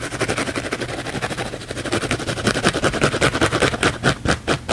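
A thick, layered blue foam sponge held in the palm is scratched fast and aggressively with the fingernails. The result is a rapid, uneven run of dry, bright scratching strokes that overlap into a continuous rasping texture.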